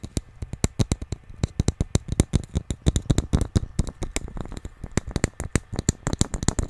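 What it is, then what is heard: Hollow wooden nesting doll piece. The small, hollow inner piece of a painted wooden nesting doll is held close to the mic and tapped and scratched with fingertips and nails. A fast, steady run of short, dry, low hollow knocks is heard, mixed with light scratching clicks, and each tap dies away almost instantly.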